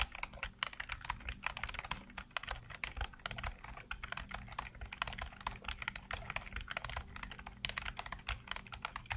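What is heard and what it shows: Fingertips tap the hollow keycaps of a black plastic computer keyboard with blue-lit keys in continuous typing. The result is a quick, steady stream of short, bright clicks and clacks that stop almost instantly, over a faint low hum.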